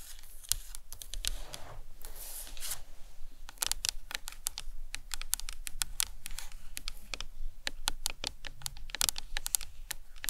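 Long nails tap and scratch the dome on top of a hollow plastic anatomical skull model. A steady run of quick, dry, bright clicks with almost no ring mixes with soft scratchy swishes near the start, over a faint low hum.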